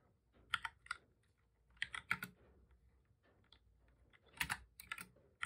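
Both hands type steadily with their fingertips on a full-size black plastic computer keyboard with a hollow body, resting on a desk. Quick, bright, hollow key taps come in short bursts separated by quiet pauses, each click dying away almost instantly.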